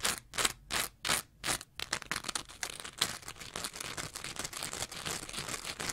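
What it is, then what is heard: Foam scrub sponge being scratched. A green layered foam scrub sponge, with a lighter foam layer and a bumpy textured face, is held in one hand and scratched with the long nails of the other. A few separate bright, rasping strokes with short pauses speed up into a dense, continuous run of quick scratching.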